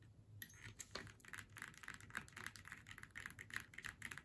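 Long nails tap rapidly on a flat faux leather snowman door hanger, striking its faux leather face and black hat section. The result is a quick, irregular series of short, dry clicks with a bright edge around 1.5 kHz, each dying away almost at once over a faint low hum.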